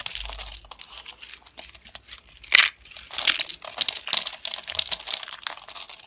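Stacked thin, dry, brittle yellow soap slices are crushed and crumbled in both hands with long red-nailed fingers. The result is a steady stream of dry, crisp crunching and crinkling, bright and high with no low end, with a sharp louder crunch partway through.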